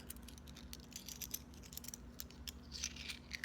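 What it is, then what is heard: Pound coins clinking. Several metal British pound coins, taken from a fabric box, are clinked and jangled together. Quick, bright metallic ticks and jingles with very short ring repeat over a low, steady hum.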